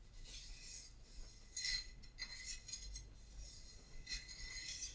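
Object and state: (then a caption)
Ceramic vase scratched with nails. A small painted ceramic vase held in both hands is rubbed and scratched with fingertips and long nails. The result is a quiet, bright rasping and scraping with a few short clinking accents and a faint steady high tone underneath.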